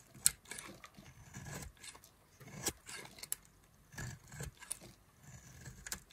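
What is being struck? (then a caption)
Bar of soap cut with a knife. A knife blade carves thin slices from a solid pink bar of dry soap held in the hand. Soft, dry scraping and crisp crackling shaves come one after another, with a few sharper, bright clicks as the blade cuts through.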